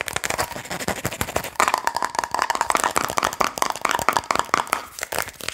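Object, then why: Plastic seasoning shaker bottle. Long nails tap and scratch rapidly on the label and red plastic cap of a medium plastic Adobo seasoning shaker bottle held close, likely partly full. Dense, fast, dry clicks and scrapes run throughout with almost no low end. About halfway through, the tapping grows louder and carries a hollow tone near 1 kHz.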